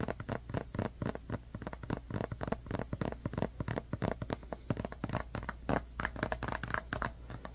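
Fingertips and nails tap and scratch a small, hollow white plastic glue bottle with an orange cap and a paper label. The result is a fast, continuous run of short, dry clicks and scratchy taps. A steady low hum sits underneath.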